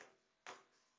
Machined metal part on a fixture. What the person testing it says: you could hear that a real dead sound